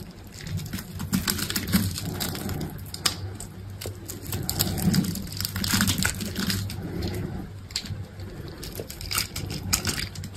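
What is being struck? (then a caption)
Bar of soap cut with a knife blade. A solid green bar of soap, held in a hand with long pink nails, is cut and scraped into small cubes with an orange utility knife blade. Dense, crisp crunching and scraping run throughout, with bright, sharp clicks over a low hum.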